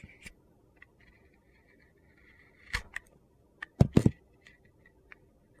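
A metal utility knife blade shaves thin curls off a hand-sized, solid white bar of soap with an orange-green glitter coating, held in the hand. Soft, irregular scraping with a faint whistling mid tone is broken by sharp, crunchy clicks. The loudest burst of thuddy cracks comes near the end, before the scraping trails off.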